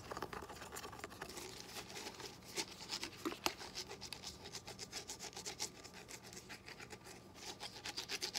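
A small, hollow, yellow lemon-shaped plastic squeeze bottle for lemon juice, with a dimpled textured surface and a green cap, is held in one hand and scratched with short, dark-painted fingernails. The result is a steady run of quick, dry, bright scratching strokes with a rasping, rubbing texture and very little low end. Each stroke stops short with almost no ring.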